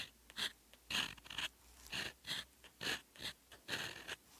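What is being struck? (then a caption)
Lined paper notebook page under a steel pen nib. A fine steel fountain pen nib writes Korean characters in teal ink on a lined paper notebook page, close up. Short, bright scratching strokes come in uneven bursts about once a second, each a dry high scrape with little low end and almost no ring.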